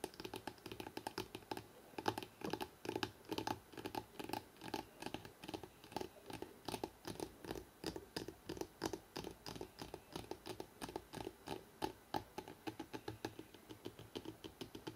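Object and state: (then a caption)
Hardcover book tapped along the spine. Fingertips and nails tap quickly along the spine of a solid, rectangular hardcover book printed with "NEW YORK" and held edge-on. A steady stream of fast, dry, clicky taps with a hollow midrange knock and bright nail edges fills the clip, each tap dying almost instantly.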